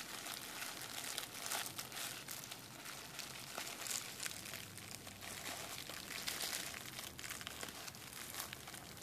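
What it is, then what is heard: Plastic bubble wrap sheet. A clear plastic bubble wrap sheet is first tapped with fingertips, then rows of hollow bubbles are pinched and popped between thumbs and fingers. The result is a quiet, continuous run of bright, crinkly crackles and sharp little pops with very little low end.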